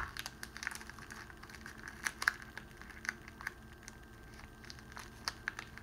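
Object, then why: Clear cellophane wrapping sheet. A clear cellophane wrapping sheet, pleated like an accordion, is compressed and crinkled by fingers held in the hands. It gives a steady stream of quiet, dry, bright crackles and crinkles. Sharper, louder snaps stand out at a few moments.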